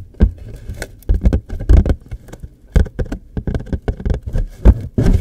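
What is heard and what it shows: Fingertips and nails tap and scratch along the top and sides of a hollow, rectangular printed cardboard tissue box with a floral pattern, held close. The result is a quick, irregular run of dull, hollow thumps, mostly low and dying away almost at once, with brief, faint, brighter scratchy streaks between them.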